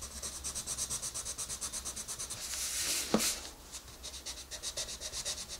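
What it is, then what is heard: Colored pencil shading on a paper page. A green wooden colored pencil is rubbed vigorously back and forth on the page of an open paper coloring book lying on a table, shading the rabbit's nose area. Rapid, even scratchy strokes give a bright, hissy rub with a steady rhythm. Midway there is a brief louder swell and a sharp scrape before the regular strokes resume.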